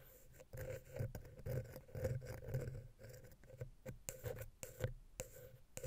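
A wooden ear pick, held vertically, taps and scratches between the metal mesh grilles of the small, hollow silver XY capsule on a Zoom H6 recorder. It makes a close, bass-heavy rustling scrape broken by sharp, bright clicks at an uneven pace of about two per second, each dying away almost instantly.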